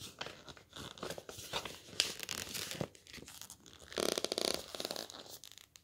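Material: Laminated board.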